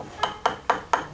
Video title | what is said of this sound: Gregos - Visage public | Le plâtre, ça sonne creux.